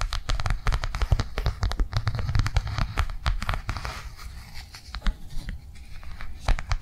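Long nails tap quickly on a flat blue soft plastic or silicone cardholder lying on a table. The result is a rapid, uneven run of short, dry clicks with dull low thumps and no ring after each tap.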